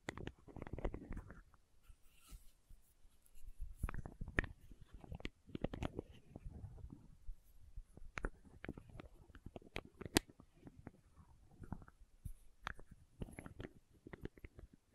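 Long nails tap and scratch the red plastic cap of a small labeled plastic condiment bottle. Quiet, sharp clicks with almost no ring are mixed with soft, dull scraping and rustling, mostly low in tone. The irregular tapping continues throughout the clip.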